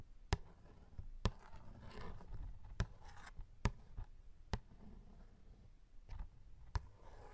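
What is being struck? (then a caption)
Cardboard snack box. Short fingernails and fingertips scratch and tap the front of a small printed cardboard snack box that appears full and is held close. Several sharp, dry taps with a dull low body stand out, each dying away almost instantly. Soft, quiet scratching and rustling fills the gaps between them.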